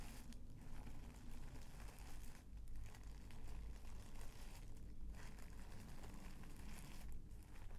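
A small folded bundle of mint green tissue paper resting on a bedspread is pressed and rubbed with the fingertips and palm of one hand. It makes a steady, soft crinkling and rustling over a low, dull rumble, with faint bright crackles and brief quieter dips between strokes.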